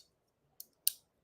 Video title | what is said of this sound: Memorial Day Weekend! - Lefty Live! | So now it sounds like a good knife. I hate when knives have rattly sounds.